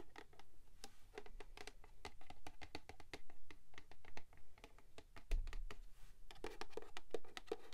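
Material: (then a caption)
Cardboard. Long pink nails tap and scratch the flat sides of a tall, rigid, hollow purple cardboard gift box with a printed pattern, held in both hands. A quick, irregular run of dry clicks and brushing scratches, each tap short with a faint low, hollow body thump underneath.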